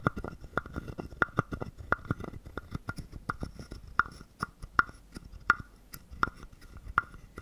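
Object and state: Wooden frog guiro.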